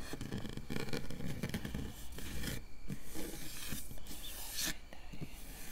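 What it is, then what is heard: Metal mesh microphone grille being scratched. Long nails, with the fingers curled, scratch and scrape across a round, hollow metal mesh microphone grille. The result is a continuous, dense rasping texture: a heavy low rumble underneath, with bright, gritty scrapes that surge and fade in quick strokes.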